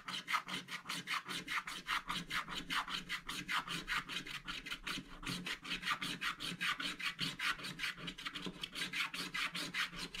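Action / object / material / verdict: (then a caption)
scrape / wax-coated scratch-art card scraped with a wooden stick / wax-coated card / none. A wooden stick scratches the remaining black wax coating near the edge of a scratch-art paper page with vigorous strokes, and loose wax crumbs build up. About 48 rapid, evenly paced rasping strokes repeat throughout, each a bright, dry scrape with little low end.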